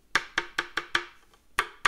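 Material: Wood.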